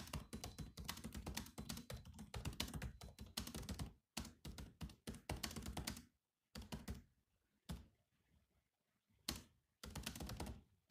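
Fingertips of both hands type on a grey laptop with black plastic keys. The result is rapid, dense clicky taps with a low, thunky body for about four seconds, then shorter bursts and single taps separated by brief silences.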